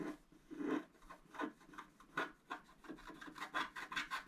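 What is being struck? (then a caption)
Scratch-art card with wooden stylus. A wooden stylus scratches hatching lines into a flat scratch-art card (black coating over colored foil) lying on a table, working on the right tree. It makes a quiet series of short, dry, raspy scraping strokes in an uneven rhythm, mostly in the mid range with little low end.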